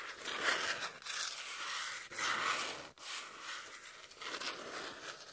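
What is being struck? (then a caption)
Corrugated cardboard sheet. Long nails scratch and tap across a brown corrugated cardboard piece held in the hand. The result is a dry, bright, rasping scrape with little low end, heard as about five strokes separated by brief gaps.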